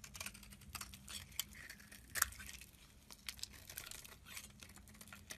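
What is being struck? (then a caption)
Bar of soap cut with a metal blade. A solid orange soap bar held in the hand is cut and shaved into pieces with a metal utility knife blade. A quiet, rapid series of crisp, bright crunching and scraping cuts is heard, with one sharper snap near the middle, over a faint low hum.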